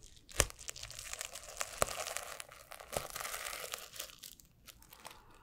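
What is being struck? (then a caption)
Plastic flip-sequin notebook cover. Fingertips and nails scratch and flip the plastic sequins on a blue and silver flip-sequin notebook held close to the mic. A bright, dry crinkling rasp runs throughout, broken by sharp clicking snaps as sequins flip over, then thins out toward the end.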